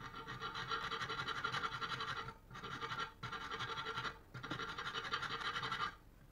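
A long, thin cast-aluminium katana blade, clamped in a steel bench vise, is filed by hand with a metal file in repeated strokes along the blade. A rapid, bright rasping scrape comes in three sustained bursts with brief pauses between them, carrying a gritty tone centred around 1.4 kHz.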